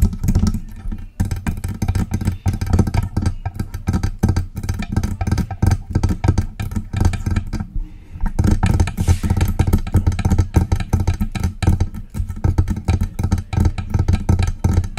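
Long press-on nails tap rapidly on the lower body of a hollow silver metal USB desktop microphone held in the hands. The result is a dense stream of short, dull, low thumps with a faint bright click on each strike. The tapping pauses briefly near the middle, then resumes.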